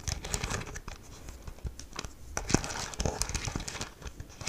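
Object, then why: Plastic remote control. A hollow black plastic handheld TV remote control with rubber buttons, held in one hand, is tapped and scratched on its buttons with long nails. The result is a dense run of quick, dry clicks and crinkly scratching with no ring-out, broken by a few sharper, louder taps.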